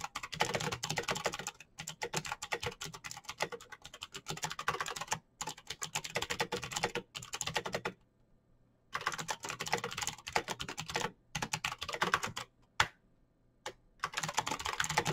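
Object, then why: Plastic mechanical keyboard with clicky switches. Fingertips with short nails type fast on a full-size black plastic Razer BlackWidow mechanical keyboard with green clicky switches, blue backlight and hollow key switches. Dense bursts of bright, crisp clicks pour out in rapid runs, broken by brief pauses and a longer gap near the middle, with a faint low hum underneath.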